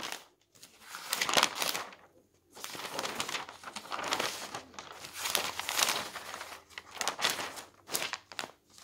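An open newsprint newspaper lying on a table has its thin pages turned quickly by hand with the fingertips. Bright, dry crinkling and papery flapping come in uneven bursts, separated by brief near-silent pauses, with no low rumble underneath.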